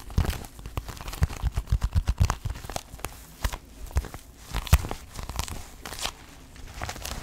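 Long nails and fingertips scratch, rub and grip a hollow, medium black leather shoulder bag with stitched panels. The result is a dense run of dry, crinkly scratches and short clicky taps over soft low thumps, with uneven bursts that rise and fall throughout.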